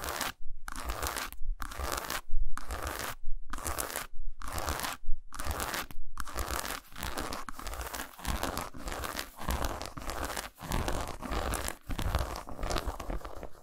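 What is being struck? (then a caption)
Milk chocolate bar. Long nails scratch and tap a solid milk chocolate bar resting on a towel, recorded close up. Dense, crunchy scratching comes in quick bursts separated by short silences, then settles into continuous scratching with brief taps. The sound is broadband and bright with a low rumble underneath.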